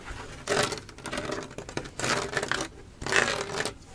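Fingernails scratch across the plastic studs of a large Spider-Man Lego mosaic art panel. The result is three bursts of dry, bright, rasping scrapes with rapid clicking texture, separated by quieter pauses.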